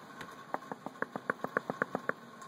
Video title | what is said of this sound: Truck meals ready to eat. Or not | they're all pressurized, and they're all loose in there